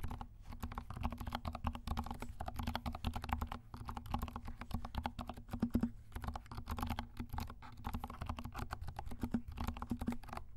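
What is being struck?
Plastic mechanical keyboard.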